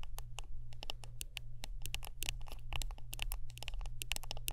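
Close-up tapping and scratching on a wooden brush, heard as a rapid run of short, dry, bright clicks and scrapes with very little ring. The clicks come quickly and irregularly over a steady low hum.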